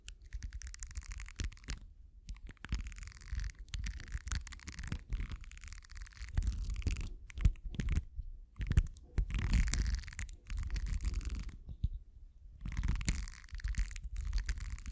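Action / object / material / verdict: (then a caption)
scrape / silicone bristle cleansing pad scratched with metal prongs / silicone / none. The metal prongs of a pink-handled tool scratch across the bristle rows of a small purple silicone facial cleansing pad held in the hand. The result is bursts of dense, crackling scratching with a bright, hissy edge over a heavy low rumble, separated by brief pauses.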